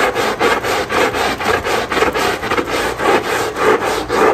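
A long-handled black scrub brush scrubs back and forth across the soaked, soap-foamed rubber-dotted non-slip backing of a small flat textile area rug lying face down on a tile floor. The result is a steady, wet, rasping scrub in a loose rhythm of repeated strokes, mostly in the mids with little low end.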